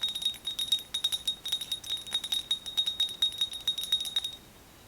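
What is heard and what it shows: Fingernails tap quickly and continuously on a ceramic Hello Kitty mug, producing bright, ringing, chime-like clinks with a clear tone near 3.7 kHz and almost no low end. Each tap rings only briefly before the next, and the tapping stops just before the end, leaving quiet room tone.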